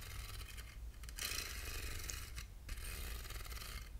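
Short fingernails scratch across the grooved ribs of a small, hollow, handheld silver aluminum box, producing a dry, bright rasping texture over a low rumble. The scratching comes in strokes with brief dips near 1 and 2.5 seconds, growing denser and brighter in the later passes.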